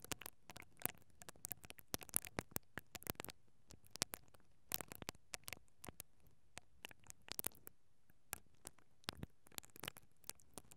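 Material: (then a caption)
Metal mesh. A mascara brush with plastic bristles is held from above and rubbed against the capsule of a hollow, perforated metal mesh microphone grille. It makes quiet, dry scratching and crackling with dozens of sharp, bright clicks that stop dead with no ring. Between the clicks is a soft, low rustle.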